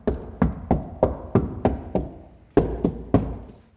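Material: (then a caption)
Sheet steel. Ten knocks on a car door's sheet metal fitted with a deadening mat and a layer of Noiseflex foam give short, dull thuds centered in the low mids around 400 Hz. Each knock dies away within a fraction of a second with almost no high-frequency content. The door sounds well damped, a little better than before the foam, and nothing rattles.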